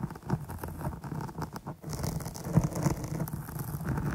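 Long nails scratch and pitter-patter across the top and sides of a dark, soft, porous foam microphone windscreen. The result is a dense, muffled, low rustling patter with quick, dull taps and a brief lull near the middle, carrying almost no bright content.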